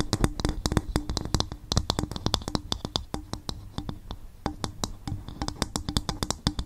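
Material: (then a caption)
Coconut shell. An upturned, hollow, empty polished brown coconut shell bowl sits over the mic and is tapped and scratched with long fingernails. Rapid, dry taps give a hollow low thump with bright nail clicks that die away almost instantly. Soft scratching fills the gaps between them.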